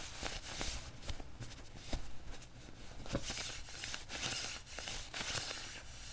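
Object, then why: Quilted nylon puffer jacket sleeve. Fingertips and nails rub and scratch the padded sleeve of a worn beige quilted nylon puffer jacket resting on a table. A steady, soft swishing rustle runs throughout, with bright scratchy hiss and brief sharper scrapes over a low, muffled rumble.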